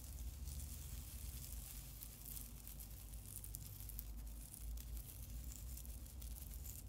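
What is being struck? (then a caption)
Plastic tinsel garland. A long, light and fluffy silver plastic tinsel garland, held up in both hands above a wooden table, is crinkled and shaken by the fingers. It gives a soft, steady, bright crinkling rustle with faint crackles throughout, over a constant low hum.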